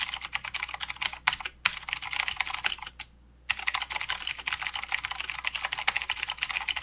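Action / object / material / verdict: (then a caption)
tap / mechanical keyboard with plastic keycaps / plastic / none. Both hands type with their fingertips on a full-size mechanical keyboard with plastic keycaps and blue clicky switches. The result is a rapid stream of sharp, bright clicks with very little low end, centered around 2.4 kHz. The typing stops briefly near 1.6 seconds and falls silent for about half a second just after 3 seconds before resuming.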